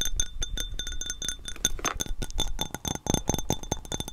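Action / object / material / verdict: tap / small hollow glass globe ornament / glass / none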